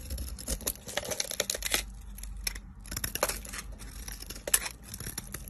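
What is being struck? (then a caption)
Bar of soap. A metal utility knife blade shaves and carves thin slices from a solid, rectangular, hand-sized green soap bar with a purple layer, held in a long-nailed hand, as curls pile up below. Crisp, bright scraping and crackling strokes come in quick bursts, with a short pause near the middle. The cuts are short and dry, with a faint low rumble underneath.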